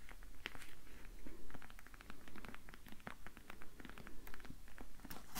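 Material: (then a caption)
Citrus peel. A whole, uncut, hand-sized grapefruit with thick orange peel is held up in both hands while long painted fingernails tap and scratch across the peel. Many quick, dry, crackly taps and scrapes follow one another over a low steady rumble.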